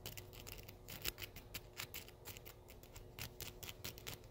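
Several small steel paper clips made of thin wire, slipped over the fingertips of both hands, are rubbed and clicked against each other close to the microphone. The result is a quiet, rapid, irregular series of crisp metallic clicks and scratchy rubs, each dying away almost instantly, over a faint low background hum.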